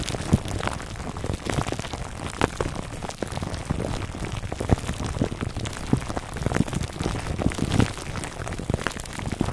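Fingertips scratch the clear plastic film wrapped around a foam microphone cover, near its top. A dense, steady crackle of crinkling and scratching fills the clip, heavy in the low end, with frequent sharp clicks and pops rising above it.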